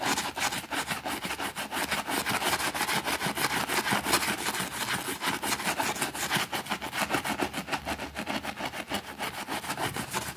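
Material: Fabric.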